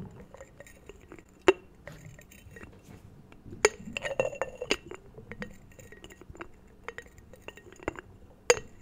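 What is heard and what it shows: A small ceramic jar is tapped and handled, giving bright, glass-like clinks scattered irregularly among soft handling sounds. The clicks are short and high-pitched with almost no ring.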